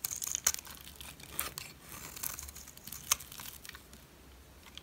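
A metal blade shaves and chips flakes from a solid turquoise dry soap bar held by fingers with long red nails. Crisp, bright scraping and crinkling is punctuated by a few sharper crunching snaps, with almost no low end.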